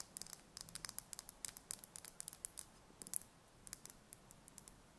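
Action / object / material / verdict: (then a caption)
tap / chicken egg, thin shell / eggshell / none. Long red fingernails tap and scratch a single thin-shelled brown chicken egg held in the hands. About 25 quiet, sharp, bright clicks land in an irregular pattern, with faint scratching between them. Each click stops instantly with no ring.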